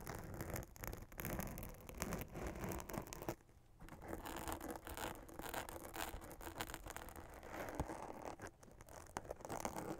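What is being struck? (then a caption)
Fabric witch hat with glitter print and sequin band. Long nails scratch across a black fabric witch hat with a glitter spiderweb print and a sequin band. The sound is a dense, continuous, crackly scratching and rustling with a bright, gritty edge. It pauses briefly near the middle before the scratching resumes steadily to the end.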